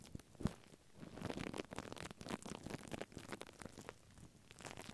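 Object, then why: Paper tissue stretched over a microphone. A plastic mascara spoolie brush is brushed across white paper tissue stretched over a microphone head. It makes a quiet, continuous crinkling and scratchy rustle with bright, crackly bursts, opening with a brief low thump.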